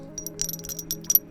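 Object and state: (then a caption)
PPS plastic keycaps with a ceramic-like clink. Two black PPS plastic keycaps are knocked against each other in a quick series of light taps. Each tap gives a short, bright, glassy clink that sounds like ceramic or metal, though the keycaps are plastic. A steady low hum sits underneath.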